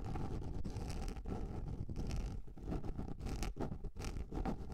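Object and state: Plastic container lid.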